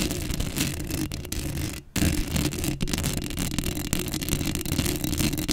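Long acrylic nails scratch the black metal mesh grille of a Blue Yeti microphone, giving a dense, continuous raspy scraping with heavy low rumble and a bright hiss on top. Near the two-second mark the sound cuts out almost completely for an instant before the scratching resumes just as thick.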